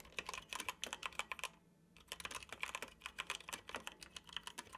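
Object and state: Plastic computer keyboard.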